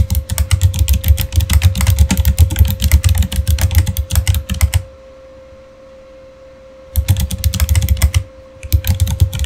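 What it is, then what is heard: Plastic mechanical keyboard being typed on. Both hands type with their fingertips on a backlit Razer Fire mechanical keyboard with plastic keycaps, producing fast, dense clattering keystrokes with a deep, thocky low end and bright clicks. The typing stops for about two seconds, then resumes in two more bursts separated by a short pause. A faint steady tone hums underneath throughout.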